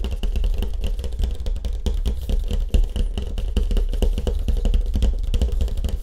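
Fingertips tap rapidly on a surfboard with a wood grain finish. The taps come as a dense, continuous run of short, dull thumps that are heavy in the low end, with no ringing after each one.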